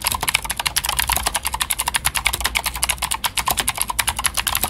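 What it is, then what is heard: Plastic mechanical keyboard with clicky switches. Fingertips of both hands type steadily on a full-size white Glorious GMMK White Ice mechanical keyboard with plastic keycaps and clicky Gateron Blue switches. Each keystroke gives a sharp, bright click with almost no ring, centred near 2.3 kHz over a faint low hum, in a rapid, even stream of clicks.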